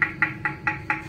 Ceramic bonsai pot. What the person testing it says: Nhưng mà nó gạn nứt thì cái âm thanh nó không được gian luôn.